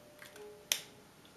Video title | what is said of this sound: Ma première commande e.l.f. | c'est pas pareil, hein. C'est le coup des portières de voitures chères ou pas chères